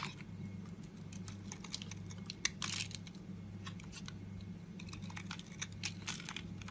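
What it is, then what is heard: Bar of soap being scraped with a blade. A metal box-cutter blade scrapes and cuts curls of soap from the face and edge of a solid, palm-sized pink Safeguard soap bar held in the hand. A rapid series of short, crisp, bright scraping and crunching cuts follows, with a louder, longer shave near the middle, all over a steady low hum.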